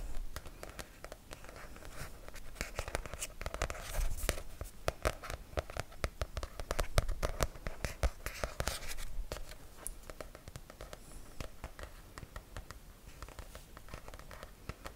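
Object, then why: Paperback book with paper cover. A paperback book with a paper cover is held upright while fingertips and nails tap and scratch the cover. Quick, dry, papery taps mix with rough scratching; the sound is busiest and loudest in the middle and softer toward the end.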